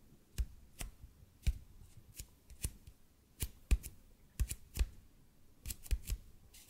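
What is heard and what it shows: A large, hollow, red-and-white speckled expanded polypropylene foam roller is held above the mic and tapped and scratched with the fingertips and short nails of both hands. Slow, irregular taps land as dull, low thuds with sharp, bright clicks on top, each dying away almost instantly, with faint scratching between them.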